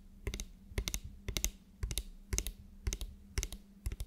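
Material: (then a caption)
Plastic. A medium frosted translucent spray bottle, likely plastic, with a black pump nozzle, hollow and partly filled with liquid, is held upright and tapped rapidly with long nails. Eight short bursts of two or three sharp, bright clicks arrive about twice a second, with a dry, quick decay over a faint steady low hum.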